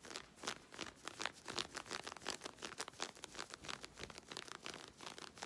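Long red nails scratch quickly along smooth navy synthetic stretch leggings being worn, near the waist and hip seam. Rapid, irregular strokes, roughly three per second, make dry, bright rasping bursts with almost no low end. Each stroke cuts off sharply with no ring.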